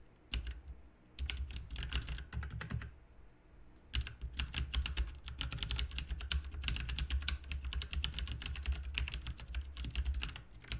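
Fingertips type steadily on a full-size backlit plastic mechanical RGB keyboard with plastic keycaps, producing rapid, bright key clicks over a steady low hum. The typing comes in short bursts with brief pauses near the start, then runs continuously to the end.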